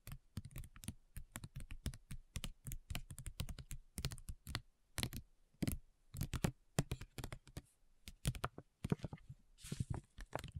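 Long nails rapidly tap and lightly scratch a flat printed plastic/foil facial sheet mask pouch, making a dense run of short, dull, low-heavy clicks that stop almost instantly. A brief brighter, hissy scratch comes near the end.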